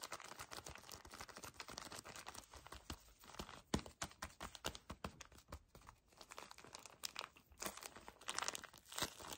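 Fingers hard grip and squeeze a small pack of paper tissues in a crinkly plastic wrapper. Dense, bright crinkling and crackling come in rapid, uneven bursts with short pauses, and a few sharper crunches stand out. Each sound stops almost at once with no ring.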